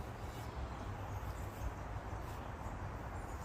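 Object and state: Nothing is struck.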